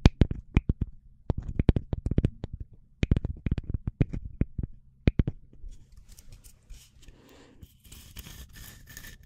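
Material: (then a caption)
Wood. A small, solid round slice of tree trunk, with a light wooden face and a bark edge, is held close and tapped and scratched with long nails. The first five seconds are full of quick, dry, woody taps in rapid clusters. After that comes softer, bright scratching and scraping across the grain.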